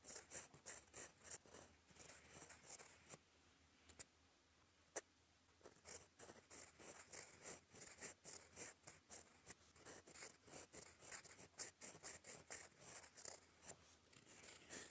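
A gold fountain pen nib writes in black ink on a flat, lined cream paper sheet, scratching across it in cursive strokes. Rapid, bright, dry scratches and ticks come in quick bursts, with a brief lull in the middle broken by a couple of isolated sharp clicks before the steady scratching resumes.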